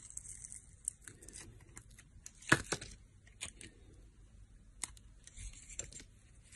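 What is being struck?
Solid bar of soap cut with a metal blade.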